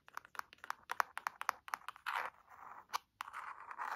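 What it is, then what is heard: Leather-bound hardcover book being scratched. Long nails scratch the cover and spine edge of a burgundy leather-bound hardcover book, making a quick run of short, dry scratching ticks. These give way to longer, rasping strokes across the surface. The sound is thin and midrange with no low end, each stroke stopping dead with no ring.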